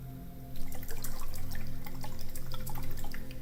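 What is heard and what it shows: A small decorative liquid-filled "fidget potion" bottle, a fidget toy called a love or self-love potion, is shaken and not opened. After a brief quiet start, it gives quick, continuous dripping, water-like sloshing from the liquid inside, over a steady low hum.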